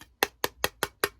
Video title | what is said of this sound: Candle Supply Haul - rebranding my candle business, new fragrance oils, finding jar suppliers | you hear that it sounds like a very thin metal